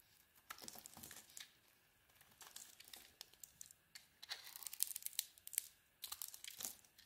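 A utility knife blade scrapes and carves pieces off a solid green soap bar with a blue coating, held in the hand. The result is quiet, crisp, bright crackling and shaving scrapes that come in short clusters, with little low end.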